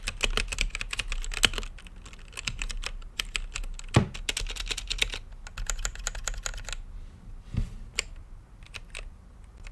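Fingertips type on a mechanical keyboard with plastic keycaps, lit green, on a clear acrylic case. A fast run of sharp, bright clacks with a low thock beneath each press, some heavier strikes standing out, thins into sparser, scattered keystrokes toward the end.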